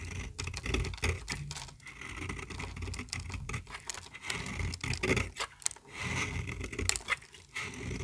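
A small, solid pink bar of very dry toilet soap, held in the hand, is shaved with a metal utility-knife blade, and the flakes curl off and pile up on the table. The sound is a steady run of short, dry scraping strokes with crisp clicks and a bright, papery rasp over a low rumble.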